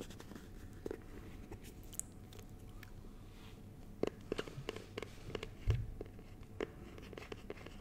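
A small, clear, rigid plastic box filled with honeycomb is held in both hands while fingertips and nails tap and scratch its plastic surface. Quiet, sharp, dry clicks with a hollow mid-range tone come at irregular intervals, mixed with faint bright scratching over a low, steady background rumble. Each tap dies away almost instantly, with no ring.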